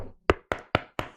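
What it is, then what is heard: Wooden table, knocked. Four knocks on a wooden surface, likely a table, each a short, dry, hollow thud with a quick decay. The knocks are evenly spaced and carry a low-mid body.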